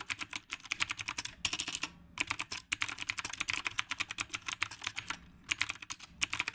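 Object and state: Mechanical keyboard with round plastic keycaps.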